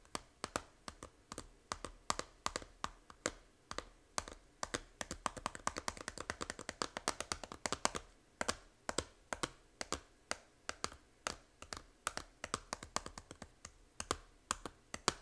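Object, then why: Small plastic game case. Long nails tap the front cover of a small, hollow plastic 3DS game case about 79 times in quick, uneven bursts. Each tap is a short, dry, bright click that dies away almost instantly, with little low end and no ring. The tapping stays quiet throughout.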